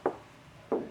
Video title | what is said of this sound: SPOILER Baru untuk Skyline‼️ Lebih Keren dari GTR Asli | the sound is like it's hollow a hollow sound means dry carbon means expensive carbon quality carbon, not layered carbon